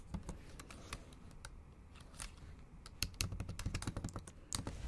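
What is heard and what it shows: Long acrylic nails type rapidly on the plastic keys of a bare, backlit MacBook Pro keyboard. Short, crisp clicks with a bright edge sit over a soft, low thud, each tap dying away almost instantly. The tapping grows louder and denser after about three seconds.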